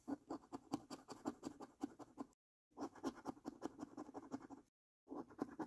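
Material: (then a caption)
Cardboard. The edge of a metal coin scratches the top panels of a new, thin cardboard paper lottery scratch card. It makes quick, rasping scrape strokes in three bursts separated by short silences. The sound is dry and papery, centered in the low-mids around 300 Hz, with little deep bass.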